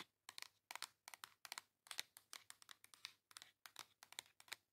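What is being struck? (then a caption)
Cardboard makeup palette. Long nails rapidly tap and scratch across the surface and edges of a flat pink cardboard makeup face palette. The result is a quick series of quiet, crisp, bright clicking and scratchy bursts with almost no low end, each cutting off dry with no ring.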